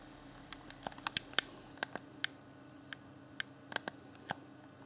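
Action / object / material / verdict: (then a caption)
tap / plastic game controller / plastic / none. A hand-sized, hollow, transparent plastic game controller with its yellow LED lit has its buttons beside the D-pad tapped and clicked by a fingertip. About fourteen short, sharp, bright plastic clicks and taps sound at an irregular pace. Each dies away almost instantly over a faint steady hum.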